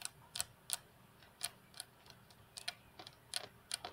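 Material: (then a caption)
Glass. Long natural fingernails of both hands tap the flat, solid glass tabletop of a computer desk. The result is a quiet, irregular series of sharp, bright clicks, each dying away almost instantly with no ringing and almost no low end.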